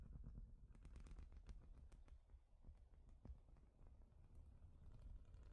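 Long nails tap across a large, flat, studded plastic Lego-style baseplate, making a quick, quiet flurry of light clicks over a soft low rumble. The taps are dry and short with no ring.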